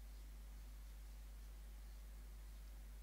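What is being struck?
Nothing is struck.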